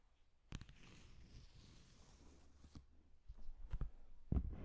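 Fingertips and short nails tap and scratch across the glossy printed cover of a large, solid, flat Star Wars Episode I book held upright in one hand, between two microphones. Soft, dull low taps stand out from a quiet, hissy scratching texture, with each tap dying away almost at once. The taps come unevenly and grow a little louder toward the end.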